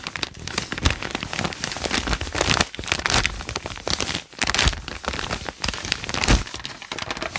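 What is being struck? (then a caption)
Paper notebook pages. Hands press, crumple and rub the lined white pages of a thick open paper notebook with their fingertips. The result is a continuous, dense run of crisp crinkling and scratchy rustling with bright, high crackle and brief soft dips between bursts.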